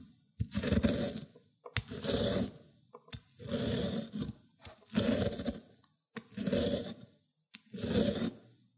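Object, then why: Cucumber on a ceramic grater plate. A cucumber end is rubbed over the teeth of a ceramic grater plate in wet green pulp. Six separate grating strokes are heard, each a wet, gritty scrape that starts with a sharp click and fades, separated by short pauses.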